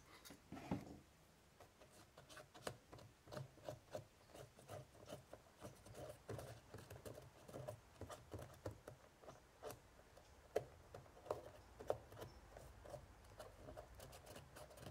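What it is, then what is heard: Woven straw basket lid. A cotton swab scratches repeatedly in the grooves of an ornate, hollow woven straw basket lid with a braided rope edge. The result is a quiet run of short, dry, scratchy ticks and rubs with a hollow low-mid body. Each sound dies away almost instantly, with a few sharper scrapes standing out.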